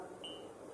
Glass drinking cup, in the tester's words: Kita ketuk ini ya. Ah, ini gelas. Gelas asli.